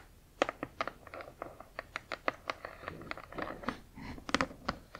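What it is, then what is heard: Cardboard box tapped with fingernails. Long acrylic nails tap and scratch a large, flat cardboard Spirograph toy box, first along its narrow side edge and then across its printed back face. About 19 sharp, dry clicks ring briefly, mixed with soft, papery scratching sounds.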